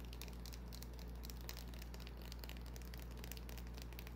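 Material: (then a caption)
Soap. Long nails scratch a small, solid white bar of soap with a scratched surface, held in the hand. It makes quiet, steady, crinkly scratching with bright crackles, over a constant low hum.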